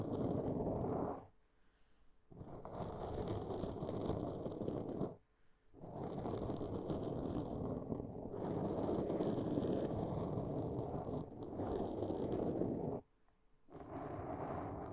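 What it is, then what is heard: Foam microphone windscreen. Long polished nails on both hands scratch a black foam microphone windscreen, producing a dense, muffled rustling scrape concentrated in the low and mid range. The scratching comes in four sustained stretches separated by three brief near-silent pauses.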